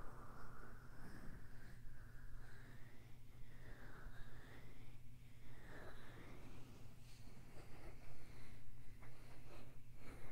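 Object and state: Nothing is struck.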